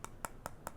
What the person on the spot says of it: comment ça sonne c'est du métal en effet